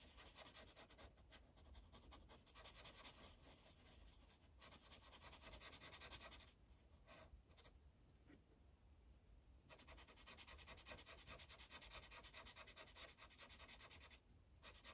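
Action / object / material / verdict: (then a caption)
scrape / felt-tip marker on a paper sheet on a clipboard / paper / none. A green Sharpie's felt tip rubs across a thin paper coloring page on a clipboard in steady back-and-forth coloring strokes. The sound is a soft, bright, papery scratching that runs nearly continuously, with brief pauses around the middle and near the end.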